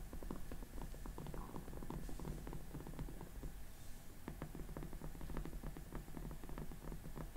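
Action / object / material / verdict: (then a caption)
tap / soft vinyl mannequin head tapped with acrylic nails / vinyl / none. Long glittery acrylic nails tap and scratch with both hands on the cheeks and sides of the face of a hollow, life-size soft vinyl/plastic makeup-practice mannequin head wearing pink makeup. Quick, dry clicks flicker over a steady low, muffled rumble, with faint scratchy rustling between the taps.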